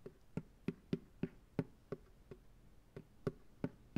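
Fingertips tap twelve times on the bottom of an empty white plastic ice cream pail turned upside down on a lap. Each tap is a short, dull, hollow knock with a low body and almost no high ring, dying away almost instantly. The taps come at an uneven, unhurried pace, some softer than others.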